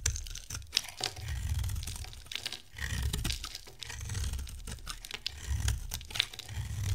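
A hand-sized solid white bar of dry soap with purple-silver coating patches is held in one hand and shaved with a metal box-cutter blade. Dry, crackly scraping and carving crunches come in dense, bright bursts over a low rumble as flakes shed from the bar.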